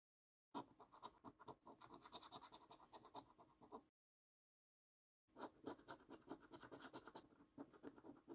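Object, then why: Paper scratch card with scratch-off coating. A coin scrapes the scratch-off coating from the symbols on a thin, flat paper £15 Luxury Lines National Lottery scratch card, a £300,000 top-prize game. Two stretches of quick, dry, rasping scratches are heard, split by a short silence, with a gritty mid-range tone and faint bright edges.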